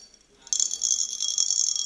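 An empty vessel with a small loose object inside is shaken repeatedly, and the object rattles against the walls. After a quiet start, a dense run of bright, high, clattering hits begins about halfway through and continues to the end. The object stays trapped inside because the vessel is empty.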